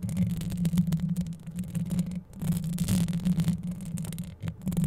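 Long yellow acrylic nails scratch quickly over a microphone's hollow metal wire-mesh grille held close up. The result is a dense, continuous low rumbling scrape with a steady buzzing hum near 190 Hz and faint bright crackle above. It dips briefly around 2.3 and 4.4 seconds before the scratching picks up again.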